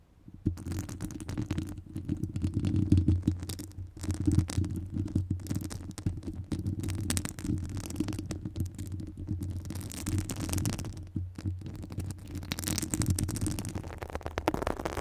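Long nail tips scratch and tap the top of a hollow metal wire-mesh microphone grille. The result is a dense, continuous scraping with muffled low rumbling around 90 Hz, overlaid by quick soft taps. It has only faint bright rasping on top.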